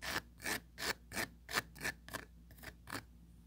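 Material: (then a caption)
Plastic. Four long pointed nails scratch rapidly back and forth across the fine grid mesh surface of a small, empty oval plastic tray. Nine quick, raspy strokes are heard, each a bright broadband scrape with a faint whistling tone near 1.8 kHz. The later strokes grow softer and less even.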